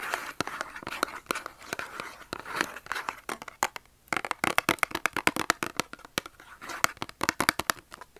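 A small Dove soap carton of thin cardboard, hollow with the soap inside, is held in the hand and scratched and tapped with short nails. Dozens of quick, dry, papery taps and crinkly scratches come through crisp and bright with almost no low end, each click dying instantly. There is a brief pause near the middle before faster, sharper tapping resumes.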